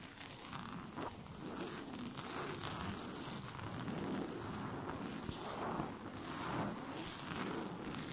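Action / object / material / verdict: scrape / cotton bed sheet / cotton / none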